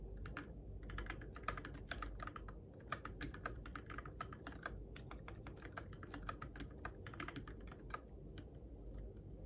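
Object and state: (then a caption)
Plastic mechanical keyboard. Fingertips type steadily on a Keychron K6 compact RGB-backlit mechanical keyboard with plastic keycaps on switches, in the dark. Rapid, continuous clacks and taps with bright, crisp edges sit over a constant low hum throughout.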